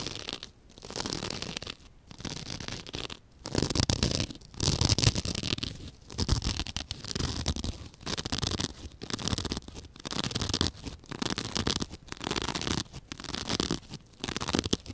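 Long dark-painted nails scratch and pick at a soft, porous, rectangular white open-cell foam sponge held in hand, while a second sponge rests untouched and then goes out of view. Bursts of dry, crackly scratching and tearing repeat in short phrases separated by brief pauses, with a low rumble underneath and a bright, hissy top.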